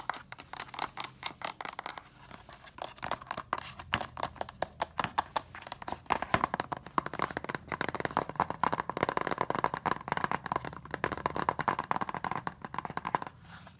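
Fingernails tap and scratch along the ridged edge of a closed, hollow white plastic DVD case, then move onto its front cover. The result is a dense run of quick, dry clicks and light scratches. Over the second half the clicks grow busier and louder, settling around a bright, hollow midrange tone.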